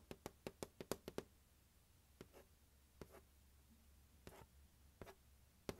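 Fingertips and nails tap the lid and label area of a large, hollow, closed turquoise hard plastic glockenspiel carrying case resting on carpet. A quick run of eight dry, hollow taps is followed by a few sparse, softer taps and a final sharper one. Each tap gives a short, low-mid knock that dies away almost at once.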